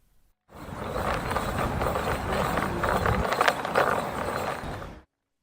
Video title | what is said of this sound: Disability Sport talk Show episode 4 Blind rugby introduction | it has like ball bearings in it so if you shake it it rattles